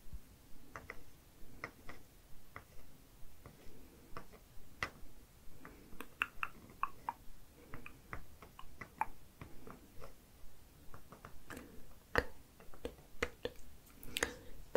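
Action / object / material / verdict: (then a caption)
tap / painted wooden toy food item and wooden toy scanner / wood / none. A small, solid painted wooden play-food item, a white cylinder with a teal end, is held between fingers with long purple nails and tapped repeatedly by the pink block head of a painted wooden toy barcode scanner. About 27 short, dry wood-on-wood knocks come at a loose, uneven pace, each dying away almost instantly over a low, soft background hiss.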